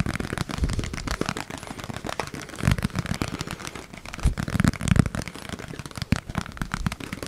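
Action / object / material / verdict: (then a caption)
tap / plastic food storage container / plastic / none. A small, hollow yellow plastic food storage container with its lid on is held in both hands close to the mic and tapped rapidly with fingertips and nails. Dense, uneven bursts of low, hollow thuds mix with light clicking ticks, each tap dying away almost instantly with a few louder knocks standing out.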